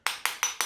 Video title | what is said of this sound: Bath Bomb Kit | you can hear how it's hollow there